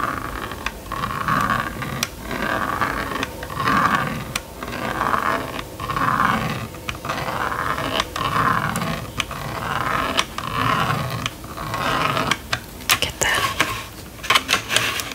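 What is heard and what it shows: A plastic stylus scratches quickly back and forth across a small red and yellow plastic magnetic drawing board, filling the screen with strokes. The scraping comes in steady, rhythmic swells with a rough hiss centered in the midrange. Toward the end, sharper bright clicks are heard as the stylus is lifted away.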